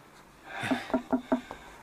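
Knocks on the wooden wall of a buried structure, on a spot found to be hollow with a space behind it. Four short, dull knocks with a hollow tone around 250 Hz die away almost at once.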